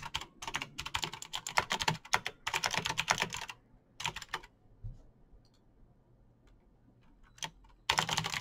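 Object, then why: Plastic mechanical keyboard. Fingertips type fast on a Razer BlackWidow backlit plastic mechanical keyboard with clicky green switches, producing rapid, bright, sharp clicks that die out almost instantly. Dense bursts of typing fill the first few seconds, followed by a short flurry, a quiet stretch with a few faint ticks and a single tap, before fast typing resumes at the end.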